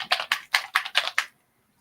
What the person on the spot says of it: You have to shake it up. You can hear that in there.